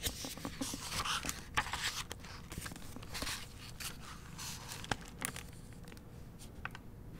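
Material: Paper.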